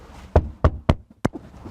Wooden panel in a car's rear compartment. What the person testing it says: So if you hit it, sounds like wood.